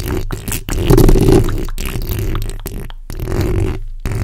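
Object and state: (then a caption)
Metal mesh microphone grille being scratched. The backs of long nails scratch across the top of a black condenser microphone's hollow steel mesh grille. The result is a dense, low, rumbling scrape heavy in bass with little brightness. It comes in bursts broken by brief gaps of near silence.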